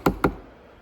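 Two knocks on the plastic casing of a Mixtream Pro DJ controller give short, dull thuds that die away almost at once. The casing sounds solid rather than hollow, reflecting very high-quality plastics and better build quality than the hollow-sounding DDJ-400.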